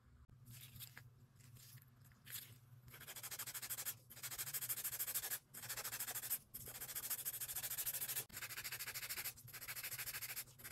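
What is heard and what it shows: A gloved hand scrapes a grey emery file along the edge of long, solid acrylic nail extensions. The filing makes a bright, hissing rasp that starts quiet and uneven, then builds into loud, fast back-and-forth strokes broken by a few short pauses, over a faint steady low hum.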